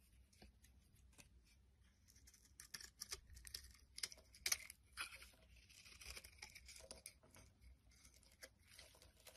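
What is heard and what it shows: A metal blade scrapes chunks off a solid pink bar of soap held in the hand. The result is a quiet run of bright, crisp scraping and crackling strokes that come in uneven bursts, with a few sharper, louder cuts in the middle.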